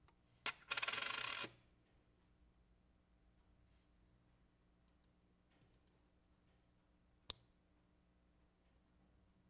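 A brief click and a short burst of broadband noise are followed by quiet, then a 1964 silver quarter from a lot of ten is ping-tested. It gives one sharp strike and a clear, high ringing tone that slowly fades over about two seconds. The coin tests positive as authentic silver.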